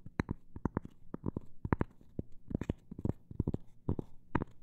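A cork coaster is tapped in a quick, uneven rhythm, about 20 short, dull taps with almost no ring. The taps are soft, low and muffled, with a faint low hum underneath.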